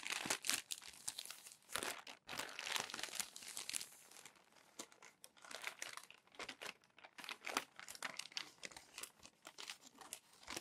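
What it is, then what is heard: Crumpled glossy paper magazine. Fingertips turn the pages of a crumpled glossy paper magazine while the palm smooths them flat. Crisp, bright crinkling and rustling comes in dense bursts: louder in the first few seconds, then softer, scattered crackles to the end.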